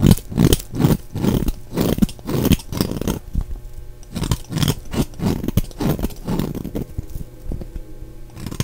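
A solid, dry oval bar of soap, blue on the outside and white inside, is held in the hand and scraped and shaved with a utility knife blade. It makes a rapid, uneven series of rough, low scraping strokes with a dull, crumbly texture and short bright edges. The sound stays close and dry, with the strokes thinning out slightly toward the end.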